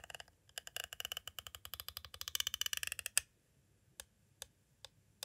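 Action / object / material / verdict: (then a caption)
tap / hard plastic cassette tape case / plastic / none. A green striped pointed tool taps and traces along the side of a hollow, clear hard plastic cassette case standing at an angle. About 30 light, bright plastic clicks come in a quick, uneven run for roughly three seconds, ending in one sharper, louder tap. Four sparse, isolated taps follow after a pause.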